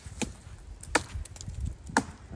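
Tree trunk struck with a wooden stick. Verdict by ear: Resonant.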